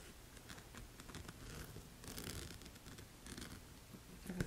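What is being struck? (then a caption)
Rhinestone-studded sandal strap. Red-painted fingernails scratch and tap the rhinestone strap of a black wedge sandal with jeweled straps and a tan footbed, standing on a table. The sound is quiet: faint, bright scratchy clicks over a low rumble, ending with a louder tap.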